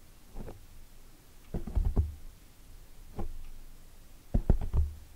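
Long nails and fingertips scratch and tap a black foam microphone windscreen from both sides. The result is soft, muffled, deep thumps and rustles in short clustered bursts, with almost no bright content and very little ring after each touch.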